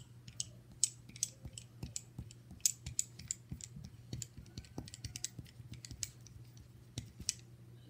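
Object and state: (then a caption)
Brass piano caster. A small solid brass piano caster wheel with a metal bracket is held in the hand while fingertips spin the wheel and tap and flick the metal. Quick, bright metallic clicks and ticks sound over a steady low hum, with short uneven bursts that die away almost instantly.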